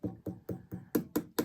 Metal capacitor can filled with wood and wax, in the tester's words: this thing is now solid again, and it sounds solid